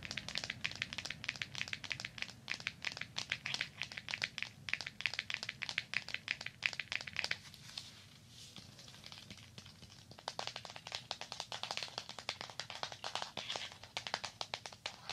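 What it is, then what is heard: Cardboard board book, tapped and scratched. Fingertips and nails tap and scratch rapidly on the glossy cover of a small, rigid cardboard "My Peekaboo" picture book with penguins on the cover, held close to a binaural microphone. The sharp, bright clicks and scrapes stop ringing almost at once. They ease into a softer, quieter rustle for a few seconds before the dense tapping resumes until the end.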